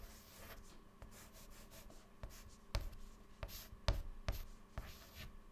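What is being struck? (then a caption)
White chalk on a chalkboard. White chalk held in fingertips writes text on a clean black chalkboard panel, making soft scratching strokes with seven sharper taps and scrapes standing out. A faint steady hum sits underneath the quiet, irregular writing.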